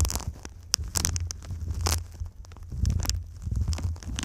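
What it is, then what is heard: Foil-faced foam insulation sheet. Long nails and fingertips tap and scratch the surface of a silver foil-faced foam insulation sheet bent into a V shape. Bright, crinkly clicks and scrapes land irregularly over a soft, low rumbling hum. The sound stays close and textured, with quick taps that stop dead and scratchy swells between them.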